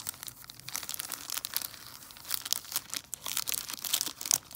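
Long nails scratch and crinkle the plastic wrapper of a large, solid milk chocolate Buck Bar, front and back. The result is a quiet run of bright, crisp crackling and scratchy rustles, rising and falling in irregular bursts with almost no low end.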